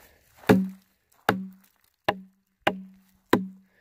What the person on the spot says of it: That sounds solid.